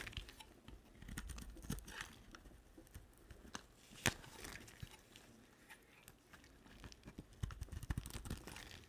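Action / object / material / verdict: scrape / soap bar / soap / none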